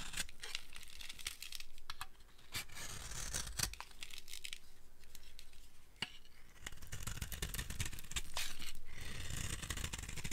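A solid, dry green soap bar is carved with a hand-held blade, making repeated scraping cuts into the soap. The cuts come as crisp, bright scraping and shaving sounds, broken by sharp, short ticks over a steady low rumble.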